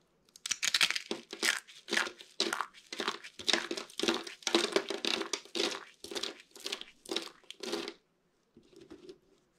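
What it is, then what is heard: Dry soap curls. A hand with purple painted nails grabs and crushes fistfuls of small, dry, brittle green and white soap curls and flakes from a pile on a table. Bright, dry crunching and crinkling comes in quick rhythmic bursts for about eight seconds, then a brief pause and one softer final crunch.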